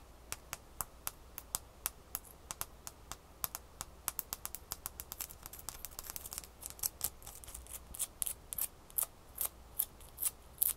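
A small solid ice cube held in the hand above a towel is tapped and scratched with long fingernails. Quick, sharp, bright clicks come in a steady stream, growing denser and a little louder toward the end, over a faint low hum.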